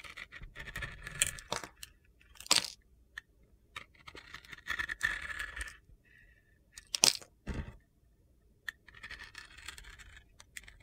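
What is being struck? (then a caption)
Glitter soap bar. A utility knife blade scrapes strips off the surface of a solid rectangular glitter soap bar, pink on top with black-green glitter below, held in hand. Several bright, gritty scraping and crunching strokes are heard, separated by short pauses, with a couple of sharper crackling peaks.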